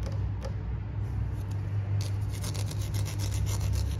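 Fingertips rub and squeeze a small, hollow, green plastic toy bitter melon with a bumpy, ridged surface, held in one hand above a toy kitchen tray. A steady low hum sits under soft, dry rubbing, and after about two seconds the rubbing turns into a denser run of bright, raspy scratches over the ridges.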